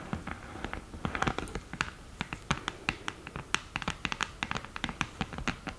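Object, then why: Cardboard palette with glass mirror. Long nails scratch and tap the mirror surface inside the open lid of a flat cream cardboard eyeshadow palette. A quick, irregular series of sharp, dry clicks with almost no ring sits over faint scratching, with bright high-end detail and a soft low rumble.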